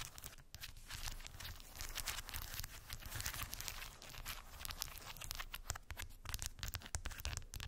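Long white acrylic nails tap and scratch over a small rectangular cork board densely covered with solid, round wooden beads. The result is a steady stream of quick, dry, bright clicks and rough scratching textures over a soft low rumble, with no ringing after each tap.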